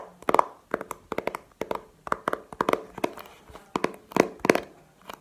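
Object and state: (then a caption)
Plastic game case tapped with fingernails. A small, hollow, clear plastic video game case with a paper insert is held and tapped with long painted nails. The result is a rapid run of dry, clicky plastic taps in uneven bursts, with a hollow mid-range knock and almost no ring.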